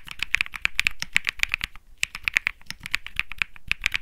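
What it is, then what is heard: Mechanical keyboard with plastic keycaps. A compact 65% Think 6.5 mechanical keyboard with Bsun Lollipop and plastic keycaps rests on a grey mat while fingertips press the keys in steady typing. About 27 short, dry clacks come through, each bright and clicky and centered near 2.3 kHz, with a slight low thump beneath and almost no ring after each press.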